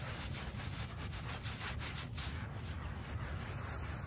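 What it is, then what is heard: Shaggy fabric doormat being scrubbed. A small, foamy shag-pile fabric doormat is scrubbed with a small wooden-backed brush. The result is a steady, continuous rubbing, scratching sound with a low rumble underneath and repeated bright brushing strokes across the whole clip.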